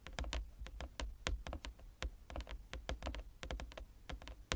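Fingertips and nails of both hands tap quickly across a large, flat, inlaid wooden chess board. The sound is a rapid, uneven patter of short, dry clicks with bright edges and almost no ring, over a steady low hum.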